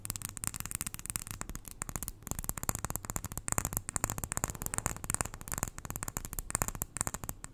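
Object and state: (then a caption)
Glass jar full of white granules. Long nails tap rapidly and continuously on a small glass jar full of white granules, held close to the ear. The taps are short, dry clicks with bright high edges and no ring, over a steady low hum.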